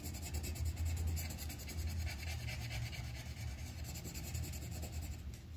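The tip of a yellow wooden colored pencil rubs across a thin white paper sheet on a clipboard while coloring a flower petal. It makes a soft, rapid scratching in quick back-and-forth strokes, about four a second, with bright papery texture over a steady low rumble.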